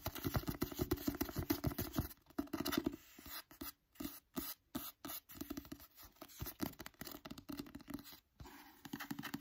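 Fingertips and nails tap quickly on the front and back covers of a solid Emily Henry novel with a glossy teal paper cover. The result is a fast, irregular stream of short, dry taps with a low body around 280 Hz. Dense tapping in the first two seconds gives way to sparser, quieter bursts.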